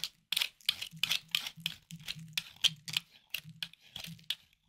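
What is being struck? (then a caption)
Bar of hard soap scraped with a small knife. A hard, solid, palm-sized white bar of soap is held in the hand and scraped and carved with a small knife, with crumbly shavings falling onto a wooden board. A quick series of dry, crisp, crunchy scraping strokes is heard, bright and high with almost no low end. Each cut ends abruptly in short gaps of silence.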